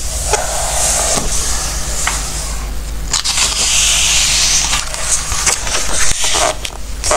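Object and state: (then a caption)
Glossy paper book pages. A palm and fingertips rub across the coated pages of an open glossy-paper recipe book, making a steady, bright, papery hiss broken by soft crackles and swishes, then a page is turned. A constant low hum sits underneath throughout.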